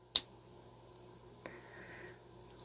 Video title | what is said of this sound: Fake Silver at an all time high. How to become a pro at spotting fake coins. | has the best ping out of any silver coin